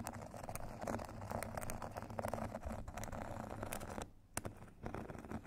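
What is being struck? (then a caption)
Foam foot file with grit surface, tapped and scratched with thin metal sticks. Two thin metal sticks tap and scratch across a solid rectangular foot file with a white foam face and purple grit edge, lying on a table. The result is a steady, dense scratching with quick little taps layered through it, mostly low and muffled with little brightness. It drops to near silence for a moment just after the four-second mark before resuming.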